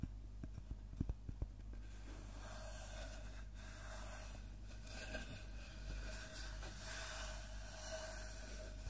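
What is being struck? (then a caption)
Wooden log slice. A large, round slice of solid tree trunk with its bark edge still on is tapped quickly on its cut face with the fingertips. Six soft, dull taps come in the first second and a half, then a steady low hum and faint rubbing fill the rest of the clip.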